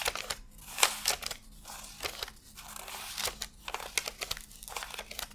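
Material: Paper.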